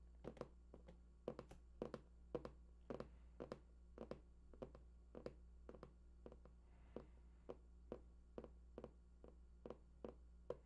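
Fingertips tap the side panels of a large, hollow cardboard PS4 console box held at both sides. The quiet, dry, hollow taps come in an uneven rhythm, each with a mid-pitched knock that dies away almost at once, over a steady low hum.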